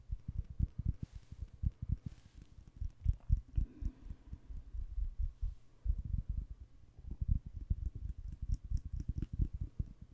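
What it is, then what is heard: Wax-filled glass candle jar. A red, wax-filled glass candle jar held close to the mic is tapped rapidly with fingernails on its side and bottom. The taps come as a quick, uneven stream of soft, dull, low thuds with almost no ring, with a few faint bright clicks scattered on top.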